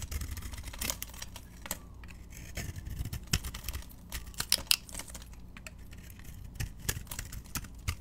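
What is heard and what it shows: A solid yellow soap bar with a pink butterfly-decorated coating, held in the palm, is shaved and scraped with a metal utility knife blade. Short, crisp, bright scraping strokes and clicks come in irregular bursts over a steady low rumble.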